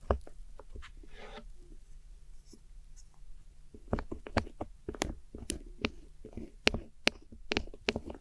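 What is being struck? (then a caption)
Pressed powder eyeshadow in a plastic palette. A metal hook tool scrapes the crumbled silver and cream pressed powder eyeshadow pans in a small square black plastic palette. Soft, gritty scraping gives way after about four seconds to a run of sharp, bright clicks and scratchy taps as the tool digs into the powder against the plastic, over a low steady hum.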